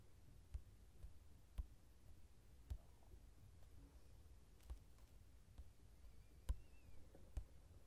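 Fingertips scratch and tap the uncoated paper page of an open mandala line-art coloring book lying flat. Six soft, short taps stand out over a very quiet, low, dull scratching rustle. Each tap dies away almost instantly.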